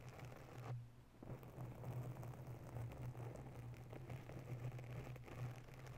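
Long nails scratch quickly around a grey foam cover on a microphone, producing a dense, soft, crackling rustle with a strong low rumble and almost no bright content. The scratching runs steadily for about six seconds, with a brief quieter dip just before the one-second mark.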